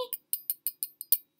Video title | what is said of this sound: Opening My Christmas Presents! 2017 | sounds like metal to me it's metal